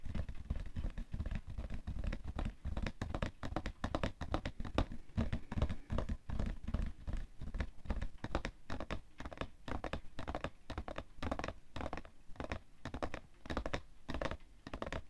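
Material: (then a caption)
Cardboard. Fingernails tap rapidly on the side of a hollow, printed cardboard tissue box full of tissues, resting on white fur. The dense, continuous patter of dull, low thuds with short scratchy clicks carries steadily through the clip.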